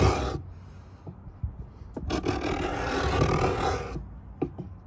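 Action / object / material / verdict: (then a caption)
scrape / pine wooden box edge and steel plane / pine wood / none. A steel Stanley 66 beading plane is drawn in repeated two-handed strokes along the lid edge of a hollow pine box, cutting grooves into the wood. Each stroke makes a dry, rasping scrape with a hollow, low body, the longest lasting about two seconds. Soft knocks and clicks fall between the strokes.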